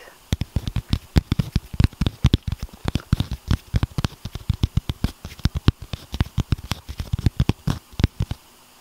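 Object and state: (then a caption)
Chocolate bar tapped. A chocolate bar is tapped directly in a rapid, steady series of dozens of short, dull, low-pitched taps. Each tap is clearly audible and dies away almost instantly with no ring.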